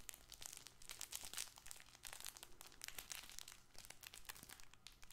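A soft, hollow fabric toy ball, likely with crinkle filling, is gripped in both hands and scratched and squeezed with fingernails and fingertips close to the mic. It gives a steady stream of quiet, bright crinkling and crackling with rapid papery crunches and scratches throughout.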